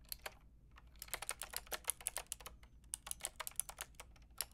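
Typing on a white-and-pink Lofree mechanical keyboard with round plastic typewriter-style keycaps and a hollow plastic case, struck with long painted nails and fingertips. About 22 quick, bright clicks and clacks come in an uneven rhythm, each dying away almost instantly, with a brief pause near the start.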